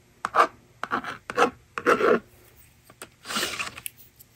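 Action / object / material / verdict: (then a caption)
scrape / plastic magnetic drawing board with stylus / plastic / none. A yellow plastic stylus rasps numbers onto the honeycomb screen of a small plastic magnetic drawing board lying on a table. Short, dry scratching strokes come in bursts separated by brief pauses, with a couple of light taps near the end.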